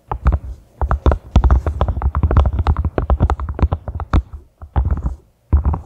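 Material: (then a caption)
Silicone. A small pink silicone collapsible funnel, hollow and empty, stands upright on a grey carpet while long manicured fingernails grip and tap its ridged sides. Quick bursts of soft, hollow, low-pitched thumps mixed with faint nail clicks come in irregular clusters separated by brief pauses. Each tap is muted and dies away almost at once.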